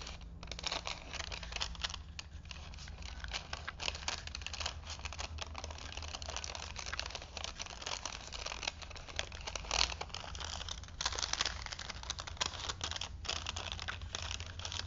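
A vintage printed paper movie film strip is stretched between two wooden spools held in both hands, while fingertips roll the strip and crinkle the paper. A dense, steady stream of bright crinkling and soft tearing crackles continues throughout, over a low steady hum.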